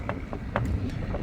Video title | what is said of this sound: "미국은 막았지만 일본은 방치했다" 술 하나로 중독,사망 사고까지 터졌다. 지금도 일본인들은 자발적으로 망가져간다 (신작가 / 풀버전 2부) | 통통하면서 안이 텅 비어 있는듯한 그런 소리가 납니다